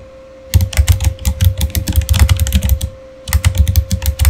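Fingertips of both hands type quickly on a full-size, solid, backlit plastic Razer gaming keyboard, producing about two dozen dull, thumpy keystrokes with short clicky tops. The keystrokes come in a steady burst, pause briefly near the three-second mark, then resume. A faint steady hum sits underneath throughout.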